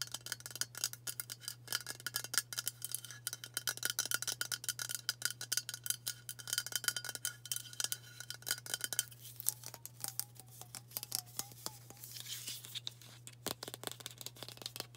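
Long burgundy fingernails rapidly tap and scratch a hand-sized, hollow, cylindrical White Dove aluminium spray deodorant can, held in both hands and tilted. The result is a dense stream of short, bright, metallic clicks and ticks over a steady low hum, with faint wavering tones in the middle of the clip.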